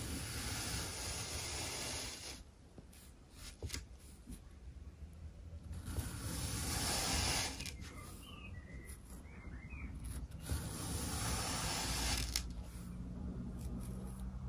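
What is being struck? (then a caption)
Kinetic sand block. A gloved hand drags a metal-tined pick comb down through a solid rectangular block of orange kinetic sand on a white table, scraping off textured slices. The sound is a soft, grainy raking scratch with a bright hiss, in waves that swell and fade, with a low rumble underneath.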